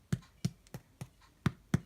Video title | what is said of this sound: #62 No knead Italian Bread-My Version | if it sounds Hollow it's done and our bread sounds Hollow